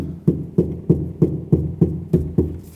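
Knocking on car door sheet metal after the first sound-deadening mats have been applied produces eight separate dull, low thuds centered around 170 Hz. Each thud dies away quickly with almost no high-frequency ring, and the door already sounds completely different from its earlier hollow tone.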